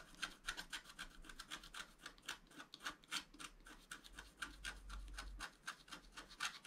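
A wooden stylus rubs and scratches back and forth across the coating of a flat, wax-coated scratch-art paper sheet. The result is a quick, loosely rhythmic series of dry, raspy strokes, about four per second, each with a bright, papery hiss and almost no ring.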